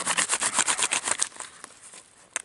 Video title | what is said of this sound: My diy fatwood "FUNGUS".. thinking outside the box | you hear that it sounds like glass